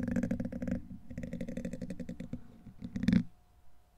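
A black plastic pen-like tool scrapes and scratches rapidly across the hollow, rounded steel wire-mesh head of a large condenser microphone. The strokes make a dense, dry rasping with a strong low-mid body, easing off midway before a louder burst of scratching near the end. The clip then falls to a faint, quiet tail.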